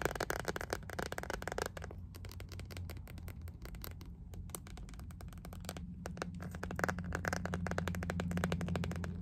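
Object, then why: Plastic phone case. An empty clear iridescent ribbed plastic phone case is held and tapped with long nails. Quick, irregular, sharp clicks come in dense bursts, dry with no ring, over a steady low hum. The tapping thins out in the middle and picks up again toward the end.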